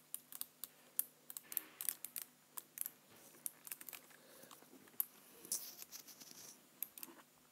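Fingertips type on a black plastic computer keyboard and press near the space bar, producing quick, irregular clicks and taps. The clicks are short, bright and high-pitched with almost no low end, and soft scratchy rustles are heard between them.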